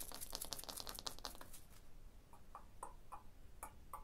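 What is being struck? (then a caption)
Limestone block wall tapped with fingernails. Long blue nails tap on the solid surface of a limestone block wall. A quick run of bright, dry clicks fills the first second and a half, then gives way to slower, separate taps with a duller mid-range knock. Each tap dies away almost at once.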